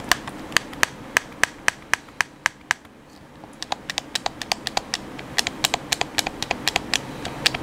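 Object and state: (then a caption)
Plastic game controller buttons. A hand-sized, hollow black plastic PS4 controller has its buttons and sticks pressed and clicked by thumbs. The result is about 39 short, sharp, bright plastic clicks. A steady run of louder clicks stops briefly around three seconds, then quicker, softer, uneven clicking continues over a faint hiss to the end.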